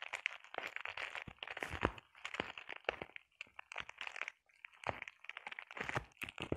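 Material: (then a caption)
Plastic. Long painted nails scratch and tap across a flat sheet of clear plastic bubble wrap. The result is quiet, dry crinkling and crackling with sharp little ticks, coming in short bursts separated by brief pauses. The sound is mostly midrange and bright with very little low end.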